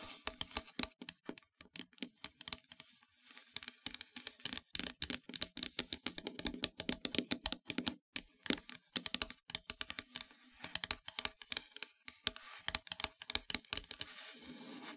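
Long metallic nails held by hand tap and scratch across a flat, solid, dark painted wooden heart-shaped plaque. Rapid, dry, bright clicks come in dense bursts with almost no ring, mixed with stretches of rasping scratches. The result is a crisp, close, high-pitched patter with very little low end.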